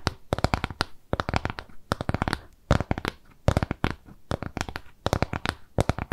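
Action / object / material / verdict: tap / round kraft cardboard piece / cardboard / none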